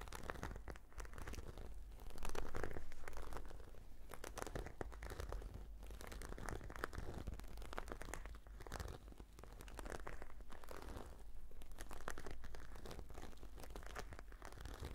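Long nails scratch a hand-sized, black, glossy, croc-embossed patent faux-leather brush case with a cord tie. The result is a dense, continuous run of crinkly, crunchy scratches with bright, rough texture over a steady low hum. The sound swells louder around two to three seconds in, then settles back to an even level.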